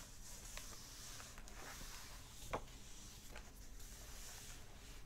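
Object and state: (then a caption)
Paper pages of an open hardback book. Flat fingers and short nails rub and tap across the paper pages of an open hardback book. Soft, quiet brushing and scratching runs throughout over a steady low hum and faint bright hiss, with one sharper tap standing out near the middle.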